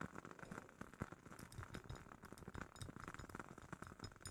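A glass jar holding a woodwick candle is tapped quickly and softly, giving a dense run of short, dry clinks and ticks. The quiet taps decay almost instantly, with faint bright glassy glints over a duller low thump.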